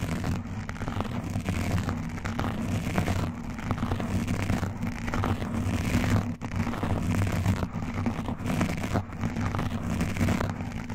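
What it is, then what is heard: Foam microphone windscreen being scratched. Both hands scratch fast at a black foam windscreen on a microphone, using fingertips and metal nail rings. The result is a dense, continuous, low rumbling scratch with rustling crackle on top, and it briefly dips about two-thirds of the way through.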